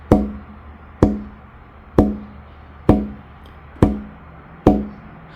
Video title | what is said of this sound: How to carve guitar bracing, how to build an acoustic guitar EP 5 | it sounds a little dead right now, but we'll start removing material